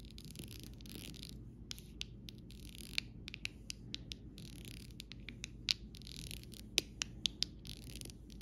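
A copper metal stylus tip taps and scratches across a small rainbow acrylic rhinestone sticker sheet, its clear faceted gems set on a thin, solid plastic backing resting on fabric. Quiet, bright scratching and scraping runs throughout, broken by sharp, short clicking taps that die away almost instantly, over a low steady hum.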